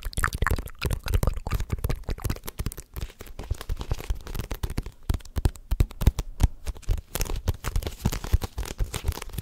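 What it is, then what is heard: Paperback manga book. Fingertips and nails tap and scratch the green cover and paper pages of a paperback manga volume held close to the mic, its solid block of pages giving a dull, bass-heavy thud. The result is a dense run of quick, dry taps and papery scratches with almost no ring, mostly low in tone with faint crinkling on top.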